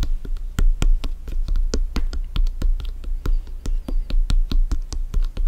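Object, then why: Inflated synthetic leather soccer ball. A full-size inflated hollow soccer ball with stitched synthetic leather panels is tapped and scratched with bare fingertips and nails. A rapid, uneven series of short, dull taps gives deep, hollow thumps with a low boom and bright clicky edges. Each tap dies away almost at once.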